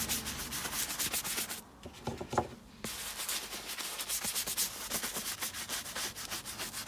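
A round wooden-handled bristle brush held in the hand scrubs a tall tan leather boot, hollow and empty, held up and covered in soapy lather, in a continuous rub. Bright, hissy scrubbing strokes fill the sound, then briefly drop away to a quieter stretch with a few soft taps and squeaks before the steady brushing resumes.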